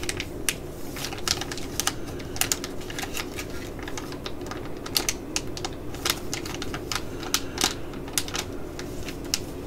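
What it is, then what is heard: Plastic foil sachet. A small, full black laminated foil eye-patch pouch is held in the hands and scratched and tapped with long nails. Quick, sharp, bright clicks and crinkly ticks come in an uneven, rapid stream. A steady low rustle sits underneath.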